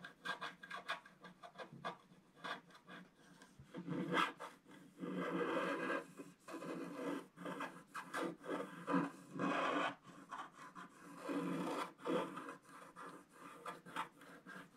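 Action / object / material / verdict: scrape / coated scratch-art paper page scratched with a wooden stylus / coated paper / none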